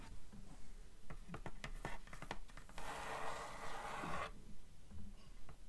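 Long nails tap and scratch the front board of a closed, grey, cloth-covered cardboard hardcover book. A run of quick, dry taps is followed by a steady, bright scratching rub lasting over a second, then a few softer taps.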